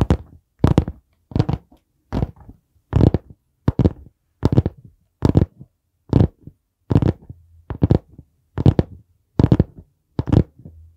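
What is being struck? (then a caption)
Hardcover notebook board cover. Fingertips tap and knock on the board cover and spine of a dark brown hardcover notebook held at an angle close to the mic. Short bursts of dull, low thuds with a quick bright edge repeat about once a second in an uneven rhythm, each dying away almost instantly.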